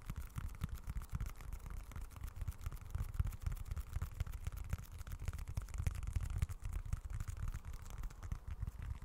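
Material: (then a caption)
Leather. Fingertips scratch across the grained leather surface of a small, dark, folded wallet. The sound is a steady, dense, low rumbling scrape made of many rapid dry ticks that barely ring, with slight swells in loudness throughout.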